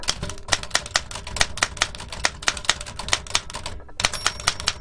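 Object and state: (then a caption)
Antique metal typewriter. Fingertips type rapidly on the round keys of a large black antique metal L.C. Smith & Corona typewriter with a hollow mechanical body and paper loaded. A fast, uneven run of sharp, bright mechanical clacks fills the clip, pausing briefly just before the end and then resuming.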